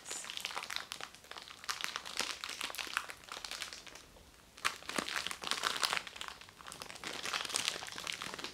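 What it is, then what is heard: Cellophane-wrapped makeup sponge. A small round white makeup sponge, sealed in thin crinkly cellophane packaging with a cardboard backing, is held close and squeezed and rubbed with the fingertips. The cellophane gives off bright, dense crinkling and crackling for the whole clip, with a brief quieter pause just before the five-second mark before the crinkling resumes.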